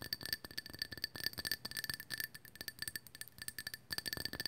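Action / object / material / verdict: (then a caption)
tap / small hollow glazed ceramic owl figurine / glazed ceramic / none. Long acrylic nails tap and scratch the glossy surface of a small hollow glazed ceramic owl figurine, pale orange with white painted dots. A quick, steady run of light, bright clicks and clinks rings briefly with a high glassy tone, with soft scratching between the taps.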